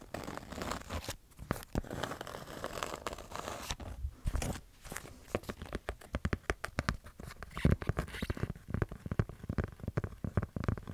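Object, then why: Kraft cardboard notepad with paper pages. Long nails tap and scratch a kraft-cardboard notepad with colourful and holographic pages held close to the microphone, while fingers flick through the pages. Rapid, irregular crisp taps and dry scratchy rustles come in dense bursts over a soft papery crinkle, with short sharp clicks that die away almost instantly.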